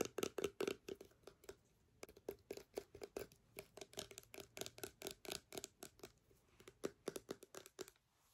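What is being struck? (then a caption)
Small plastic sanitizer bottle. A small, clear plastic hand sanitizer bottle, partly full, is tapped, scratched and turned in the hands with long nails. The result is a quiet, rapid series of dry clicks and brief bright scratches. Each stops almost instantly, with a faint hollow tone near 445 Hz.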